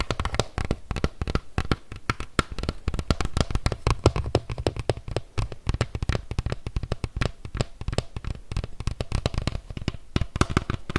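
Fingertips and nails tap and scratch across a hollow green hard-shell plastic bike helmet. A rapid, dense stream of short, dry, hollow taps with a deep thumpy low end is mixed with faint scratching. Each tap dies away almost instantly.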